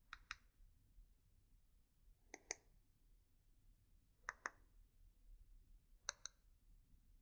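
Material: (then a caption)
Wood. A single solid, yellow-painted hexagonal wooden pencil is held between both hands while long nails and fingertips tap and scratch along its shaft. Eight short, bright clicks come in four quick pairs with long quiet gaps between them, each dying away almost instantly over a faint low background hum.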